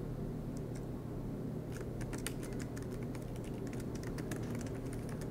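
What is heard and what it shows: Both hands tap with fingertips on the black plastic low-profile keys of a solid MacBook Pro aluminum laptop, giving a quick run of light, bright key clicks over a steady low hum.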